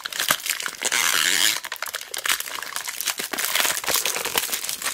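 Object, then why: Roll of tape wrapped in clear cellophane. Long black nails press, squeeze and scratch the clear cellophane wrapped around a large roll of mounting tape held flat. The result is a dense run of bright crinkles and crackles. A sustained, louder rustle rises near the start before it breaks back into quick, sharp crinkling.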